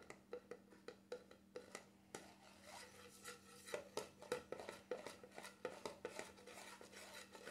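Fingertips tap and drum on the top of a black screw-on plastic lid of a small cream jar, likely full, sitting on a glass stovetop surface. The result is a quick series of light, dull clicks with a hollow tone around 500 Hz that die away almost at once. A faint steady hum runs underneath.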